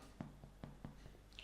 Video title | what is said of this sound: Fruit Scone Recipe easy | hollow inside well not Hollow but fluffy